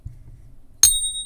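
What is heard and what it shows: A genuine American Silver Eagle silver bullion coin is struck once for comparison, giving a clear, high-pitched ring with sustained tones after a faint low hum. The clear ring marks it as real silver.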